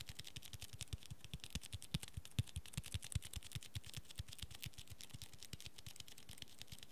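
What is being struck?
Cloth-covered hardcover book.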